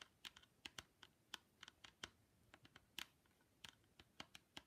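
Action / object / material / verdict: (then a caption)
tap / plastic ski goggles with mirrored lens / plastic / none. Long pink nails tap and scratch the mirrored plastic lens of ski goggles with a grey frame edge. About nineteen sharp, bright clicks arrive in an uneven, quick rhythm, each dying away almost instantly, with faint scratching in between. The result is a crisp, light, keyboard-like clatter with almost no low end.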